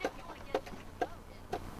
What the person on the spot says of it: that's definitely not wood, not shell, not rock.